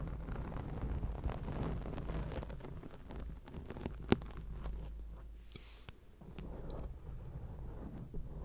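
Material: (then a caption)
Foam. A black foam windscreen on a microphone is scratched with long acrylic nails, producing a continuous low, muffled rumble and rustle. Faint clicks and scratches sit on top, with one sharp tap standing out near the middle.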